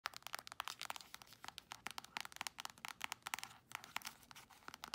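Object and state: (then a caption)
Plastic lotion tube. Long nails rapidly tap and scratch the surface of a squeezable plastic tube of Palmer's cocoa butter hand cream that looks full. The result is a quiet, fast run of crisp, dry clicks mixed with scratchy, crinkling rasps, all high-pitched with no low end and no ring after each tap.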